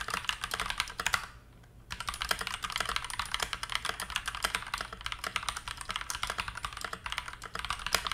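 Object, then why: Plastic mechanical keyboard. Fingertips type rapidly on a TM680 65% hot-swap mechanical keyboard in stock configuration, with a translucent teal plastic case, dark plastic keycaps and KTT Mint linear switches; loose teal switches lie untouched on the desk mat. A dense stream of short, bright plastic clacks with very quick decay runs throughout, broken by one brief pause early on.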